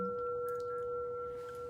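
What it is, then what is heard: Emptied singing bowl ringing freely. A metal singing bowl, emptied of its contents, is struck again and rings out fully with a steady tone near 480 Hz and a fainter partial above it. The tone holds with a long sustain through the whole clip.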